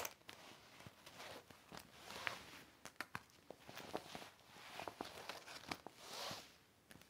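A yellow cloth held in the fingers wipes and rubs a large, flat, empty hanging organizer with clear heavy vinyl pockets over black backing and zippers, lying on a red blanket, with a second similar organizer untouched in the background. Quiet, bright swishing rubs swell and fade, broken by many short, sharp plastic crinkles and ticks.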